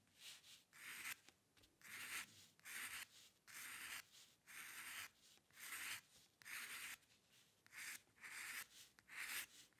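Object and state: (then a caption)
Paper scratched by a pen nib. The metal nib of a dip pen scratches across a flat sheet of white drawing paper while drawing hair lines. Short, dry, bright scratching strokes come in quiet, irregular bursts with brief pauses between them, with no low end and no ring after each stroke.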